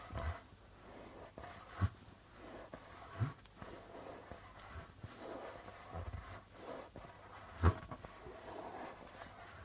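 Fingertips rub and tap the white plastic membrane of a hollow darbuka drum with a red body, giving a soft, steady low rustling. Four distinct low, dull taps stand out above it and die away almost at once.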